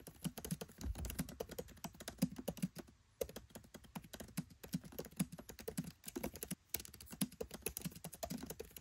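Fingertips type rapid key taps on a MacBook Pro 13 keyboard with black plastic keycaps set in an aluminium body. The clicks are short, dry and soft, with a low, muffled body and almost no ring. They come in quick, steady bursts, with brief pauses near the third and sixth seconds.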